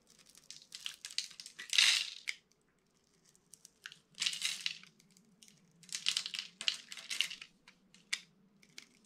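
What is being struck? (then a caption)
Dry bar of soap scraped with a metal blade. A metal utility-knife blade scrapes across a solid, dry, palm-sized orange bar of soap scored in a grid, breaking off small cubes that crumble onto a red surface. Bright, crunchy bursts of scraping and crumbling come in clusters, separated by brief quiet gaps. A faint low hum runs underneath.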